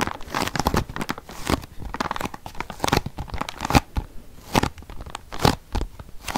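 A long, flat, closed cardboard biscuit box with a printed surface is held close to the microphone and scratched and tapped with fingernails. The result is a dense run of short, dry scratchy taps and crinkly rasps with no ring after them, some sounding like tearing or crunching.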